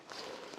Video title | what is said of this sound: 어린이날 추천 요리 TOP4 [양념치킨, 돈까스, 문어잡채, 고구마맛탕] | 이거는 물을 안 준 건데요, 이렇게 바슬바슬해요.